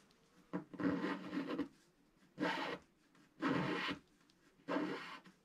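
A wooden stylus scratches the black coating off a flat sheet of scratch-art paper in five separate strokes. Each stroke is a dry, raspy rub with a low-mid body around 280 Hz and a faint bright hiss, separated by near-silence.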